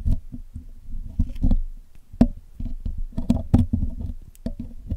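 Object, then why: Metal wire mesh microphone grille. A steel hook pick and steel tweezers poke and pick at the black hollow wire-mesh metal grille of a Blue Yeti microphone while cleaning it. The result is a quick, uneven series of dull, low, close-up taps and scratchy clicks with almost no ring.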